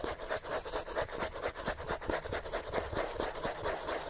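Fingernails scratch quickly across the page edges and spine of a thick, solid paperback book. The result is a steady run of dry, rasping strokes, roughly two per second, each a short burst of bright, hissy texture over a mid-range tone, with little low end and no lingering ring.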